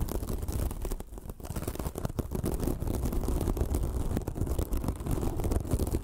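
Long nails scratch a small, white, sparkly foam sponge that is soft and porous, making a dense, continuous rustling scrape. The sound is low and muffled with a steady rumbling texture and faint brighter flecks. It dips briefly near the start before carrying on evenly to the end.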